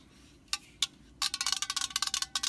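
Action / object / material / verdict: tap / metal aerosol spray can / thin metal / none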